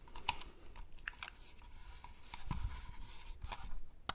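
A hand-sized white and grey plastic computer mouse with a hollow shell is held near the mic while its buttons are clicked and its surface is tapped with fingertips. Sharp, bright clicks and soft taps stand out against a quiet, low rumbling background, with the crispest click near the end.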